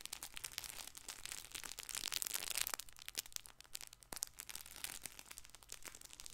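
A colorful, hand-sized stuffed fabric baby ball with felt patches, soft and filled, is held in one hand and scratched with fingertips and nails. The fabric gives off bright, dense crinkling and scratchy clicks that swell to their loudest in the middle, then settle into sparser, quieter crackles.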